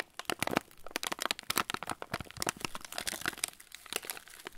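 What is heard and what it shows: A full yellow plastic-film TUC cracker packet is held and tilted while fingertips rub and squeeze the wrapper. It gives a dense run of sharp, bright crinkles and crackles with little low end. Each snap dies away instantly, and the activity stays steady through the clip.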